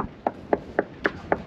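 Five short, dull knocks on a fiberglass boat deck laminate, struck one by one to check for rot. Each tap is brief and mid-pitched with almost no ring, and the spot is judged sound and OK.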